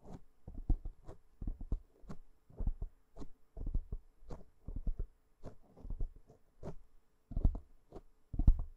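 Long nails of one hand scratch across the top of a black foam windscreen on a microphone. Short bursts of muffled, bass-heavy thumping and rustling scratches come in uneven clusters, over a faint steady hum.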